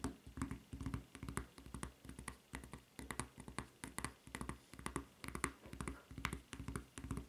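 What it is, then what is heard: Rubber flip-flop sandal. Long red-painted nails scratch and tap the sole and red rubber strap of a white rubber flip-flop lying flat on a table, its solid sole edged with serrations. Soft, dull taps with low thumpy body mix with brief crackly bright scratches in an uneven, steady stream of quick bursts that die away almost at once.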